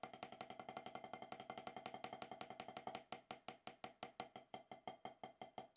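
Wooden drumsticks tap rapidly on a solid octagonal HQ rubber-top snare practice pad, producing 47 short, dry, knocking strokes with a woody tone around 750 Hz. For about the first three seconds the taps come in a fast, even stream, then they slow into more spaced, accented strokes that each die away almost at once.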